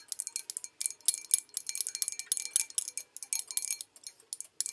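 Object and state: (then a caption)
Porcelain bowl tapped with nails. Long acrylic nails tap rapidly on the outside of a hollow, empty white porcelain bowl with a painted olive pattern, held in the hand. About two dozen quick, bright clicks with a thin, high, chime-like ring die away almost instantly, in irregular bursts with brief pauses, with almost no low end.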